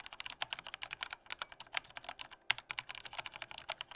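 Fingertips of both hands type at normal strength on a full-size black plastic Corsair K68 mechanical keyboard with Cherry red switches. About thirty quick, bright keystrokes tap out in a steady, uneven rhythm. Each is a short, dry plastic clack with almost no low end and no ring.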